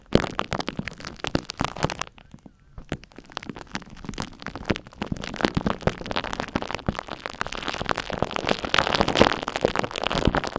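Long acrylic nails scratch and tap an egg-shaped microphone whose mesh is coated in a crusty layer of dried purple glue-stick glue, while a glue stick is held in the other hand. Dense, rapid crackling and scraping runs throughout, briefly thinning near the start before building into a steady, bright rustle.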